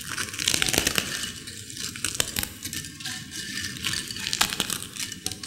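Long-nailed fingers crush and crumble broken crisp potato chips in a white ceramic bowl. A dense, bright crackling runs throughout, dotted with sharp, quick snaps over a thin low end.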